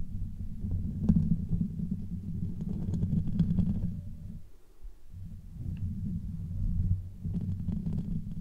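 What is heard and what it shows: Fingertips of both hands rub and scratch directly on the hollow domed metal mesh grille on top of a rose-gold Blue Yeti USB microphone. The result is a dense, muffled low rumble of soft scraping strokes. It briefly quiets just before the midpoint, then resumes.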